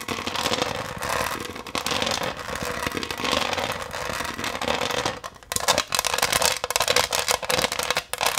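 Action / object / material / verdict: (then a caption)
scrape / textured pressed-glass dish / glass / none. A flat, pineapple-shaped green pressed-glass serving dish with a textured surface is held upright in both hands while long green nails tap and scratch across its raised diamond pattern. The result is a dense, bright crackling of rapid clicks and scraping with a faint glassy tone near 500 Hz. It grows choppier and more separated in the last few seconds.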